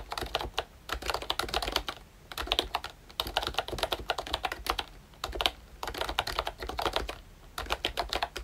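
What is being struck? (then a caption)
Plastic membrane keyboard. Fingertips type continuously on a pink and brown plastic ROYCHE Disney Mickey Mouse retro membrane keyboard. The result is a steady patter of soft, bright clicks, broken by short pauses into bursts of quick, dry keystrokes with almost no ring.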